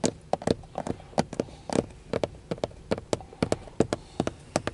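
Fingertips and nails tap about 22 times on a textured dark plastic steering wheel centre airbag cover with a chrome emblem, a hollow molded housing. Each tap is a short, dry, hollow knock with a mid-pitched body and almost no ring. The taps come in a quick, uneven rhythm over a quiet background.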